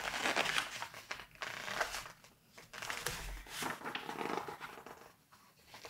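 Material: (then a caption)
Glossy paper. Pages of a thick glossy-paper September 1986 Vogue fashion magazine are flipped and bent while fingertips with painted nails hold it open. Bursts of dry, bright crinkling and rustling come irregularly, with quieter gaps between the page movements.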